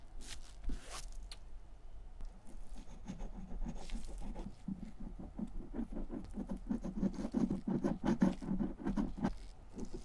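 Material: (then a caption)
Leather. A fine pointed metal tool scratches and dabs leather filler onto the surface of a dark vintage German leather satchel in short, repeated strokes. The result is a soft, irregular, low patter of dry scratches that grows denser and slightly louder toward the end, with little brightness.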